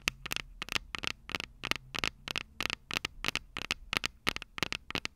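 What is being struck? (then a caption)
Small metal microphone capsules on a handheld recorder. Long purple acrylic nails of both hands tap and scratch the two small, hollow, silver metal microphone capsules on top of a handheld Tascam DR-05 recorder standing on a table. The result is a fast, uneven run of sharp, bright clicks with a metallic ping near 2.6 kHz and almost no ring, with faint scratchy texture between the taps.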